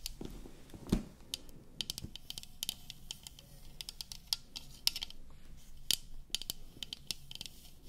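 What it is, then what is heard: Painted metal water bottle. Long lilac acrylic nails tap and scratch along the side of a tall, hollow white printed water bottle made of painted metal with a cap, held in both hands. Many sharp, bright clicks with faint high metallic ticks stand out over a soft, low scratching rustle. Each tap dies away almost instantly.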